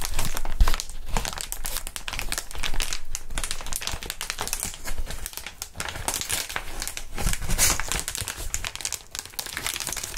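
Clear, long, air-filled plastic air column cushion wrap is held, bent and crinkled by gloved hands. The result is a steady stream of dense, irregular crinkling and crackling with sharp, bright transients over a low rumble.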